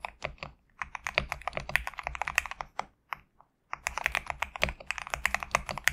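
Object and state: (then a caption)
Mechanical keyboard with PBT keycaps. Fingertips type rapidly on a GMK67 compact mechanical keyboard with PBT plastic keycaps, producing a dense run of short, bright, clacky keystrokes with almost no ring. A brief pause falls just past the midpoint before the fast typing resumes.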